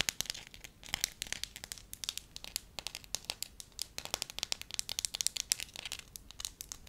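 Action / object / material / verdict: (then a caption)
scrape / thin wax sheet / wax / none. Long nails scratch and crinkle a thin, pliable pale yellow wax sheet held up close while fingers stretch and flex it. The result is a rapid, uneven run of sharp, bright crackles and crinkles, each dying away almost instantly, with very little low end beneath the high, papery texture.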